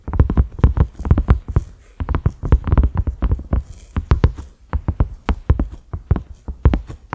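Fingertips and short nails of both hands tap a cream silicone pot lid with concentric ridges and a black center knob. The taps are quick, dull, low thumps with a faint clicky edge, each dying away almost instantly. They come in irregular rapid bursts separated by brief pauses.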